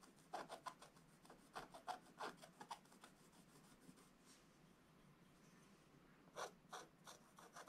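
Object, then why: Wooden stylus on scratch-art coated paper. A wooden stylus scratches the drawings of presents into the black coating of a scratch-art book page in quick, uneven rasping strokes. Each stroke gives a dry, papery scrape centered around 700 Hz with a bright hiss on top. A quieter stretch in the middle gives way to a fresh burst of strokes near the end.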